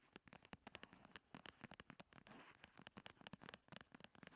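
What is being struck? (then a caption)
Paperboard cosmetic box. A slim, hollow paperboard primer box is held and rolled on a table while long nails tap and scratch it. The result is a quick, irregular stream of short, dry taps with bright, crackly scratching between them.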